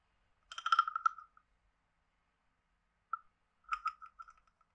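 A wooden stick is scraped along the ridged back of a hand-sized, hollow, carved wooden frog guiro. It makes two bursts of quick, dry, ratcheting clicks with a hollow, croak-like tone, separated by a single soft tick. The sound is quiet, sits in the mid range with a little brightness on top, and stops almost instantly with no ring.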